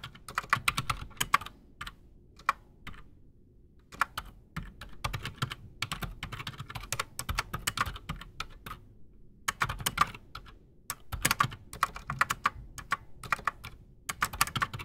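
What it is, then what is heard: Mechanical keyboard with PBT keycaps. A full-size black Redragon Shrapnel K589 mechanical keyboard with Outemu Silent Sky silent switches and Razer PBT plastic keycaps sits solid on a desk while both hands type fast with fingertips. Rapid runs of short, muted plastic taps with soft low thumps come in bursts separated by brief pauses. Each keystroke dies away almost instantly.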